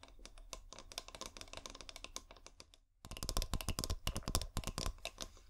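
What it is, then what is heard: Glass bottle tapped with fingernails. A clear glass bottle with fairy lights inside is tapped and scratched with long painted nails, making a run of quick, irregular clicks and taps with bright, sharp tops over a low hum. After a brief silent gap near the midpoint, the tapping returns louder and fuller.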